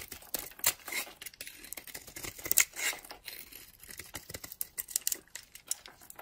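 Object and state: Bar of soap being carved.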